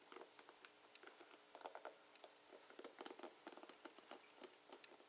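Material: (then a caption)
Plastic. Fingertips of a hand wearing a ring rake and flick across the plastic bristle tips of a dark plastic paddle hairbrush held over a wooden table, with the ring possibly touching the brush now and then. About eighteen quick, dry, crackly ticks and soft patters are heard, with bright edges over a low steady hush. Each one dies away almost at once.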